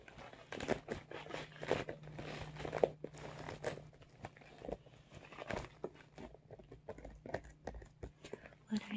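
Fingertips and short nails tap and scratch the top and sides of a medium blue holographic PVC/vinyl makeup bag that is hollow and soft. The result is a quiet, irregular run of soft taps mixed with crinkly, rustling scratches, each dying away almost instantly. A faint low steady hum sits underneath.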